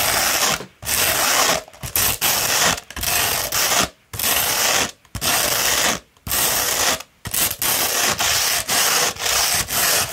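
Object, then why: Coarse sandpaper sheet. Long red nails scratch and rub the abrasive surface of a rolled, hollow tube of coarse beige grit-60 sandpaper. The result is a dry, gritty, bright, hissing scrape that comes in steady strokes separated by brief silent gaps, about one stroke per second.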